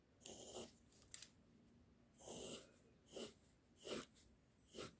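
The tip of a pink mechanical pencil, held in the fingers, rubs and scratches short hair strokes onto a flat white sheet of drawing paper bearing a line sketch. Five separate bursts of bright, airy scratching rise and fall over a quiet background, with a brief faint tick between the first two.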